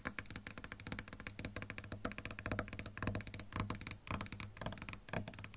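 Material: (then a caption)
Wood, plastic. A sunburst solid-body electric guitar of lacquered wood with a plastic pickguard and metal hardware lies flat while long pink nails tap and scratch over the pickguard, pickups and bridge area. The result is a dense, irregular run of quick, dry clicks and scrapes with a low, steady hum under them and faint ringing from the strings.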